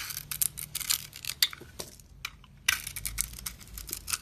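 A metal utility-knife blade scrapes thin shavings across the cut face of a solid, glittery blue soap bar. The clip is full of crisp, bright scratching and crackling bursts with little low end. A brief quiet gap comes near the middle before the scraping resumes.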